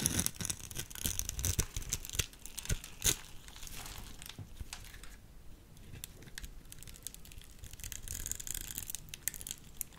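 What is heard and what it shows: A utility knife blade cuts through the scored surface of a solid cream-white soap bar held in the hand, crumbling off small cubes. Dense, crisp scraping and crumbly crackling are heard with many sharp clicks and snaps, bright and close, with a low rustle underneath.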